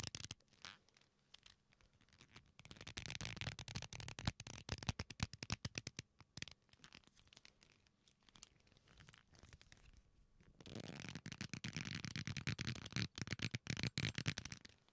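A thick leather belt with a metal buckle is folded, twisted, rubbed and scratched by fingers, making the leather creak. Dense, irregular scratching and rapid ticks run throughout, with a louder, fuller stretch of rubbing and creaking in the last few seconds.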